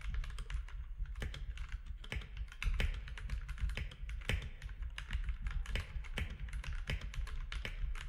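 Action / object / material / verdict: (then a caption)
tap / plastic mechanical keyboard / plastic / none. Fingertips type steadily on a compact mechanical keyboard with gray and cream plastic keycaps, producing a fast, continuous run of short, sharp clacks with bright edges. Each keystroke dies away almost instantly over a constant deep low hum.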